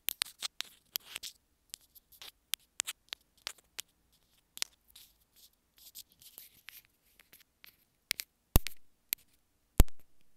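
Long nails scratch and tap along the sides of a small white plastic earphone inline remote. Short, dry clicks and brief bright scratchy bursts come irregularly, about two dozen in all, with a few louder, sharper taps near the end.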